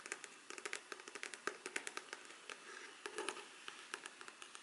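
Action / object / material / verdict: tap / faux leather covered hard folder / faux leather / none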